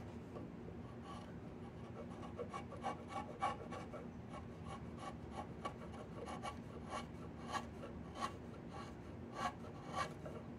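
A yellow-handled wood chisel scrapes and gouges along the surface of a long, solid, partly peeled diamond willow walking stick held across the lap. Rasping, rubbing strokes repeat at an irregular pace over a steady low hum, with sharper bright scratches standing out now and then.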